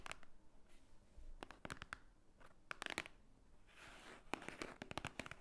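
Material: Paper.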